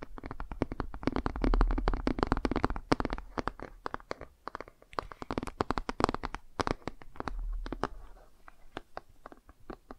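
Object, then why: Laminated cardboard board book. Fingernails scratch the laminated cover of a cardboard board book, then its page edges, producing fast, irregular, dry scratching and ticking. Dense bursts with a soft low rumble beneath give way to sparser, separate clicks toward the end.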